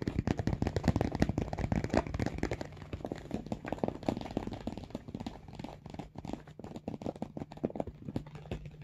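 Fingertips rapidly tap and scratch the top of a large, hollow pink makeup bag made of embossed, textured faux leather or fabric, with some squeezing of the front. The result is a dense run of soft, dull, low taps mixed with light scratchy rustling, steady for the whole clip and easing slightly toward the end.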